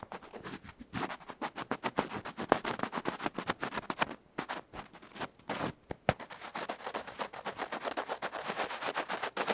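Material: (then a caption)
Metal, felt. A bamboo ear pick scratches vigorously across the felt face and edge of a tiny metal electret microphone capsule held between fingertips. Fast, irregular rasping strokes come close against the mic, each a sharp, dry, broadband scrape with almost no ring, with brief pauses between bursts.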